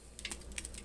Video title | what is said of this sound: Homemade Flatbread Pizza | cooked crispy you can even hear it